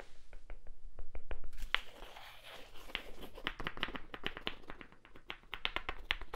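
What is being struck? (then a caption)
Small wooden block. A small, solid, light wooden cube held close to the microphone is tapped and scratched with fingertips and nails. Quick, dry, bright clicks come in an uneven rhythm, with a soft scratchy rustle between them in the middle stretch. Each tap stops almost instantly, with no ring.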